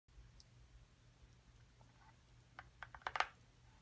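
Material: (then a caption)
Cardboard. A small printed cardboard box for an excavation kit, hollow with contents inside, is tapped and scratched with long acrylic nails while held and on a table. After a quiet stretch with a faint low hum, six short, dry clicks arrive in the last second and a half, centred around 1.2 kHz with bright edges. The final taps are the loudest and die away almost instantly.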